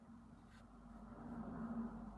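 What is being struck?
Nothing is struck.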